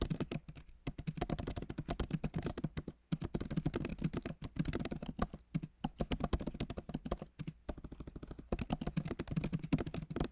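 Fingertips of both hands type on a backlit MacBook Pro keyboard, whose plastic keys sit in an aluminum body. The result is a rapid, steady stream of short, soft clicks with a low, dull thud, broken by brief pauses. The keyboard sounds solid.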